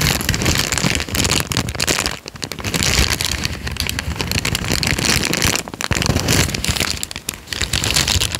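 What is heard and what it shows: A thin peach paper sheet, folded into a smaller bundle, is squeezed and crinkled between the fingers of both hands close to the microphone. It makes a dense, continuous crackling that is bright and crisp on top with a low, handling rumble underneath. The sound eases briefly twice before the crinkling surges back.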